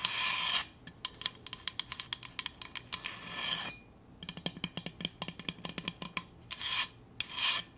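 A Hydro Flask stainless steel insulated water bottle is tapped and scratched. Bright rasping scratches open and close the clip, with long runs of quick, sharp metallic taps in between. The result is a clinky, high-pitched sound with almost no low end.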